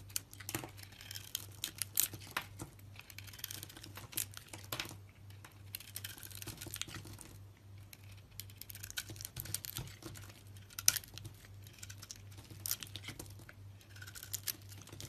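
A utility knife blade shaves crumbly flakes from a solid white soap bar with a red rim. Quiet, dense, bright scraping and crackling with sharp little clicks continues over a steady low hum, as the flakes break off in short crisp bursts.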